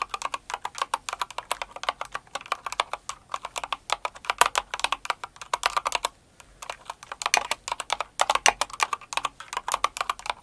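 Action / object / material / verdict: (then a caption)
tap / plastic mechanical keyboard keys / plastic / none. Both hands with long acrylic nails type fast on a full-size blue and white Cinnamoroll mechanical keyboard with plastic keycaps. The result is a steady stream of short, crisp clacks centered around 1 kHz with bright edges and no low end. There is a brief pause just past the six-second mark before the rapid typing resumes.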